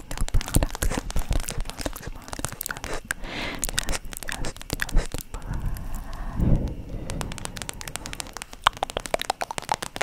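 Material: Vinyl.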